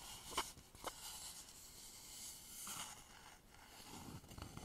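Fingertips and nails scratch and tap the outer surface of a polished, hollow wooden bowl held upside down over stereo microphones. Two short, sharp taps stand out early, followed by soft, bright scratching and rustling that rises and fades at a quiet level.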